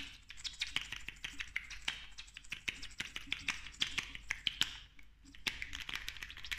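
A slim, small, hollow pink plastic lip gloss tube with a metallic cap is tapped and clicked quickly with long nails. Rapid, sharp, bright clicks and taps come in an uneven stream, each dying away almost at once with no ring, over a faint low background hum.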